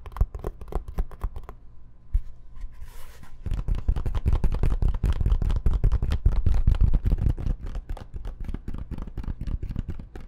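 A medium-sized dark rectangular zippered case with a fabric-covered hard EVA-type shell, hollow and closed or empty, is held in both hands, turned, and scratched and tapped with long painted nails. Dense, irregular scratching and tapping fill the clip with low, muffled thuds. A brief quieter stretch with a faint hiss falls around the third second.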